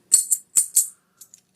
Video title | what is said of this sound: I Paid $1 Over Spot For All This Silver - But How Do I Know That It's Real? | you hear that clank it's a dull clank